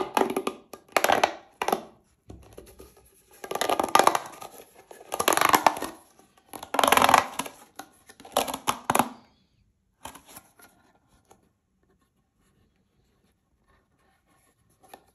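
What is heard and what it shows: A single hollow, green corrugated plastic pop tube, held in both hands, is twisted and compressed by fingers with manicured nails so its ridges pop, while other tubes lie still on the table. Bursts of dense, bright crackling pops and snaps come in clustered waves for about nine seconds. They then thin to a few sparse clicks and fall nearly silent, with one faint click near the end.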